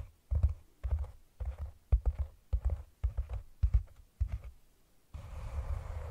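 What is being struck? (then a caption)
Cork cylinder container. A hand with long nails taps on the top of a hollow, round brown cork container set over the microphone, making quick clusters of dull, deep thumps with short bursts of clicky texture. Near the end the nails switch to scratching the cork, producing a steady, rough rustling hiss.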